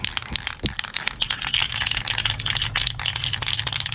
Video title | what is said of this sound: Drilling a hole in my van | you hear that ball rattling around? You gotta shake it until that ball rattles really easily.